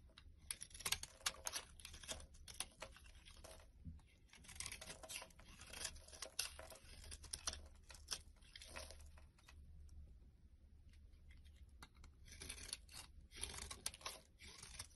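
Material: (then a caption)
Soap. A blade scrapes and carves flakes from a solid rectangular white bar soap with pink speckles held in hand. Quiet, bright, crackly scraping comes in dense bursts with short pauses, softening in the middle, over a faint low hum.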